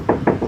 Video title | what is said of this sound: CARA CEK UNIT MOBIL SECOND TIPS DAN TRICK UNTUK PEMULA | teng teng teng teng teng gitu sama di sebelah sini nah ... itu lebih nyaring